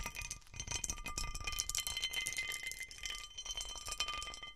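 Fingernails and fingertips scratch and tap the underside of a large textured cut glass serving platter, over its patterned raised bumps. A dense stream of bright, crisp clicks and scratchy rasps plays over a faint, steady glassy ringing, with each tap dying away almost at once.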